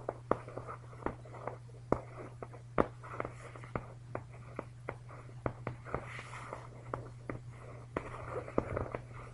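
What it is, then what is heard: Nylon down comforter being scratched. Both hands scratch and rub a large, puffy, down-filled comforter with a shiny green synthetic nylon/polyester shell, bunched up on a bed, using short fingernails and fingertips. Quiet, short, sharp scratchy ticks and soft rustling repeat throughout, with a little brighter crinkle in places. A steady low hum runs underneath.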